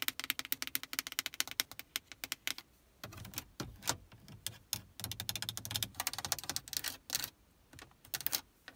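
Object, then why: Plastic car stereo buttons and faceplate. Long painted nails tap and click quickly across the hard plastic buttons and faceplate of a Prius's solid, built-in dashboard car stereo head unit. Sharp, bright clicks come in rapid bursts for the first few seconds, then mix with duller, lower scratching and rubbing strokes before the fast tapping returns. Each click is dry and short, with almost no ring.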